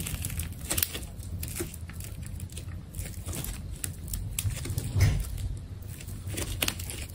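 A utility knife cuts and scrapes around the narrow waist of a hand-held, hourglass-shaped, solid ball of layered orange adhesive tape. Crisp crinkling, crackling and tearing snaps sound over a steady low rumble, with a louder burst near the fifth second.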